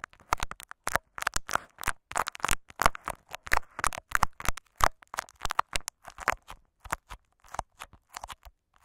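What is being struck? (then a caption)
Clear plastic tape wrapped over a microphone capsule. A small microphone capsule wrapped in clear Scotch tape is scratched and rubbed with the fingertips and nails of both hands. Close, dry crinkly scratches and rustles come in quick, uneven bursts, with a crackling plastic texture centered in the midrange.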